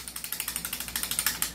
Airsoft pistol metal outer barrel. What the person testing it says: Yung unit na China na hindi naka-fix outer barrel, ganito.